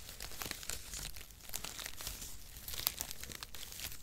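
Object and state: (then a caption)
Cardboard packaging shreds. A bunch of thin brown cardboard packaging shreds is squeezed and crinkled with fingers. The result is a steady stream of dry, papery crackles and rustles with bright, sharp ticks throughout, and a few louder snaps near the end.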